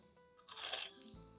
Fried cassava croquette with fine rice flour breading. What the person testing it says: Esse fica crocante? Fica, mas nem tanto.